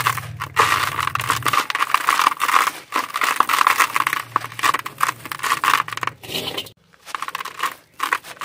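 A large, dry, solid sand-cement chunk is crumbled by hand with the fingertips over a plastic basin, and the grains fall onto the sand pile below. Dense, gritty crunching and crumbling textures with a bright edge come in bursts. Brief quiet gaps fall between them.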